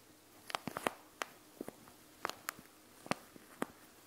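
Long nails tap and scratch the plastic bead pouch of a panda gel bead eye mask made of plastic and gel beads. The result is a scattered series of short, sharp, bright clicks with a little rattle, each dying away almost instantly over a quiet background.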